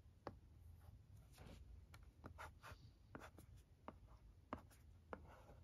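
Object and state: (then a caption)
Plastic LCD writing tablet being written on. A pencil-like stylus scratches across the screen of a thin plastic LCD writing tablet resting on carpet while writing out the alphabet. Quiet, dry scratching strokes are broken by short, sharp taps as the tip meets the plastic, over a soft low background rumble.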